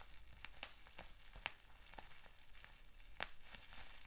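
Fingertips and short nails pinch, pop and scratch a clear plastic bubble wrap sheet with small bubbles. Quiet, steady crinkling and scratching runs throughout, broken by a few sharp, bright pops, the loudest near the middle and again toward the end.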